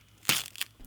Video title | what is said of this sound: I lit my Samsung Z Fold 7 on Fire | صوت طقطقة وفرقعة. هذا هو الزجاج فائق النحافة